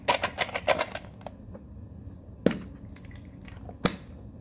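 Long fingernails rapidly tap the edges and lid of a small, hollow, rectangular metal Pokemon card tin with rounded edges that holds a card deck. A quick flurry of bright, clicky taps comes first, followed by a few sparse, sharper ticks. Each tap dies away almost at once.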